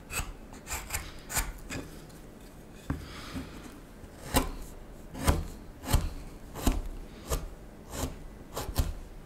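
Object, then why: Wooden spoon blank. A small knife whittles the faceted back of the bowl on a solid wooden spoon blank in scraping cuts. Short, dry rasping strokes come at an uneven pace, each a brief bright scrape over a low, muffled body, separated by quiet gaps.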